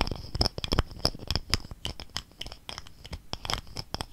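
A gold-colored plastic cosmetic squeeze tube, held horizontally in both hands, is scratched and tapped with fingernails along its body. A quick, uneven series of dry, sharp taps mixes with crinkly scratching, each sound cutting off almost instantly with no ring.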